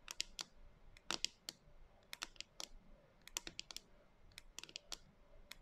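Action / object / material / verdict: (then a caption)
tap / plastic jar of dry soy chunks / plastic / none. Long nails tap and scratch the top of a clear plastic canister with a white lid, lying on its side, full of dry soy chunks with a few loose chunks on the table. Quick, sharp, bright clicks come in irregular clusters, each dying away almost instantly with no ring over a quiet background.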